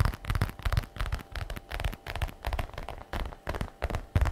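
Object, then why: Patent leather bag flap. Long red nails rapidly tap and scratch the flap of a glossy black patent faux leather messenger bag lying on a wooden table. The result is an irregular stream of dull, low thumps mixed with crackly scratching, each tap dying away almost at once.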